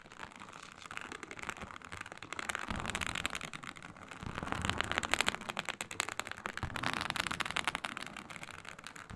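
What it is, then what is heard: Faux snakeskin synthetic leather mat. Long nails drag and scratch across a flat, iridescent, embossed reptile-pattern synthetic leather mat of faux snakeskin. The result is a dense, bright, crackling scrape that starts softly, then builds into three louder, rougher bursts of rapid scratching, with brief quieter gaps between them.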